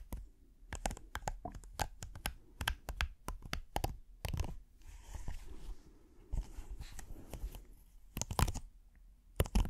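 A thin, flat red silicone hexagonal trivet mat with a dotted texture is held near the face and scratched slowly with the fingernails. It gives a run of sharp, crisp ticks and crackles spread from deep thumps to bright highs. A softer, continuous rubbing scrape fills the gaps in the middle of the clip.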